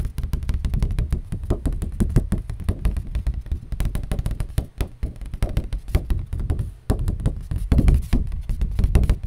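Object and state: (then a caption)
Cardboard. A piece of cardboard is tapped rapidly and continuously, giving a dense stream of dull, low-pitched thuds with almost no ring. The taps stay soft and muffled, with energy concentrated in the deep low end and little brightness, pausing briefly only a few times.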